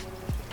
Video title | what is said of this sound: Charger Original Oppo Apakah Tidak Bisa Pake Yang Biasa? Charger Murah Bagus Charger OPPO VOOC | Kalau diketuk-ketuk juga tidak begitu nggak terlalu kopong.